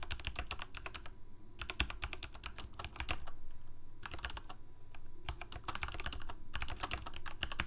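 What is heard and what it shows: Both hands type rapidly with their fingertips on a full-size black plastic Corsair K68 mechanical keyboard with Cherry MX Red switches and blue backlit keycaps, resting on a white desk. Quick, bright clicky key presses come in dense bursts with short pauses, each strike dying away almost instantly over a low steady hum.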